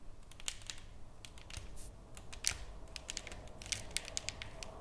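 Fingertips and long nails tap and scratch the surface of a solid, flat painted wooden plaque. Many quick, sharp, bright clicks with almost no ring sit over a soft, low background hiss, and the surface gives off a faint scratchy rustle between the taps.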